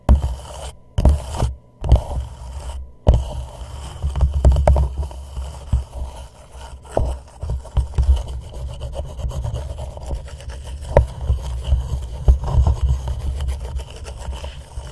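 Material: Plastic.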